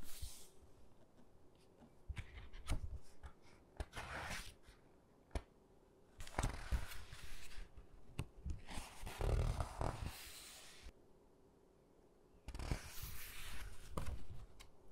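Fingertips rub and flip the thick glossy photo pages of an open hardcover book, bending each page as it turns. Soft rustling and sharp little paper snaps are heard, with louder bursts of crisp, bright crinkling as pages are bent over. Between turns the sound drops to quiet, light rubbing.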